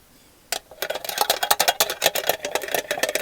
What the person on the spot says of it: And this tin is hollow. It's hollow.